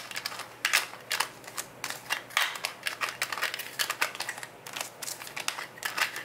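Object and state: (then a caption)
Plastic jar lid tapped and scratched. Fingertips and nails scratch and tap the yellow plastic lid of a full, clear plastic gummy vitamin jar. It makes a quick, uneven run of sharp, bright plastic clicks mixed with dry scratching. Each tap dies away almost at once with no ring.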